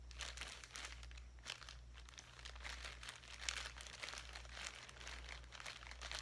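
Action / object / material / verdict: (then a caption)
scrape / plastic zip-top bag with foam pieces / plastic / none. A clear plastic zip-top bag holding light-colored foam pieces is held up and crinkled with the fingertips. The result is a quiet, continuous stream of bright, dry crinkles and crackles that stop short, with no ring. A steady low hum sits underneath throughout.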